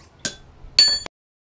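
A steel ball bearing is dropped from 12 inches onto the center of a Peter Wright wrought iron anvil, with its chains tightened by turnbuckles, as a rebound test. Three bright, high metallic pings ring out, the second louder and longer, sustaining a clear tone before cutting off.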